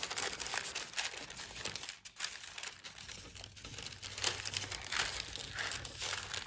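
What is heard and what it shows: A hand with long white acrylic nails lifts, folds and crinkles a large, thin, flat sheet of pale pink tissue paper lying on a dark table, rubbing and crumpling it. The result is a steady, bright, dense crinkling rustle with little low end, briefly dipping quieter partway through before picking up again.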